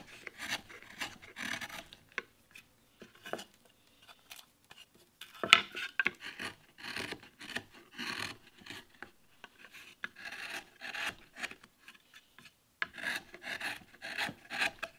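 A wooden-handled steel gouge scrapes and cuts into a solid light wood board carved with a damask rose-leaf relief, held down by fingertips on a wooden bench. A series of short, dry, bright rasping strokes comes with quiet pauses between them, with one sharper, louder cut near the middle.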